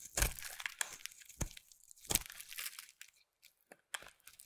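A white, solid, hand-sized bar of soap held in one hand is carved and scraped with a metal utility knife blade, peeling off curls over a pile of soap shavings. Crisp, bright crackling and scraping bursts come in an irregular rhythm, each with a dull low thud at its start and little ring, separated by short quiet gaps.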